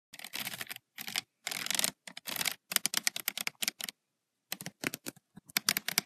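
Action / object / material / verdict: tap / paper notebook with metal spiral, tapped with fingernails / paper / none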